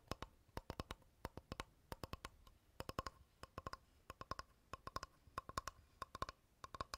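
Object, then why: Light wooden board. Fingernails tap and scratch the surface of a flat, rectangular, solid light wooden board held upright. Quick, dry clicks come in rapid clustered bursts, each with a faint tonal ping near 1 kHz and a bright edge. The taps are quiet and die away almost instantly.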